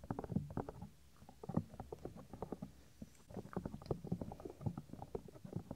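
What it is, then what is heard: Silicone microphone ear being rubbed. Fingers press, fold and rub the small, solid, white soft silicone ear of a 3Dio binaural microphone. The result is a quiet run of dull, muffled low thumps and rubbing scrapes, with almost nothing bright. Two short lulls break the sound near the first and third seconds.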